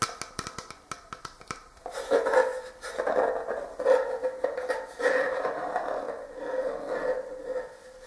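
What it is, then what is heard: Plastic ice cream jar. An empty, hollow, clear plastic Talenti gelato jar with a black plastic screw lid is handled and turned, and its lid top is tapped with fingertips and short nails. A quick run of light, crisp taps opens the clip, followed by sustained scraping, rubbing and clicking as the jar is moved. A hollow plastic tone around 500 Hz rings faintly beneath the handling.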